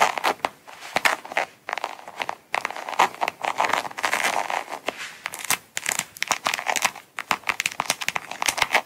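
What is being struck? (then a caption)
Coated canvas wallet. Long acrylic nails scratch and tap the front flap of a small, closed, brown coated-canvas Coach wallet with a star print and metal logo, lying on a mat. Dry, bright scratching rasps alternate with quick, sharp taps that stop almost instantly. The sound is crinkly with almost no low end.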